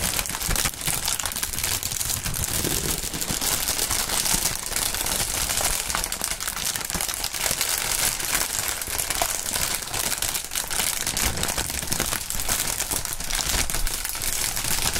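Clear plastic air-pillow packing film with green print, thin and partly inflated, is held in the air and crinkled and squeezed by both hands in fingerless gloves. A steady, dense stream of bright crinkling and crackling runs through the whole clip at an even level, with no pauses.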